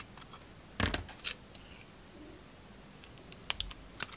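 A utility knife blade shaves thin slices off a hand-held rectangular bar of solid soap with grey and white stripes and glittery red edges. Soft, crisp scraping and crackling come in short bursts over a quiet background, with a louder thick shave near the start and sharp clicky cuts toward the end.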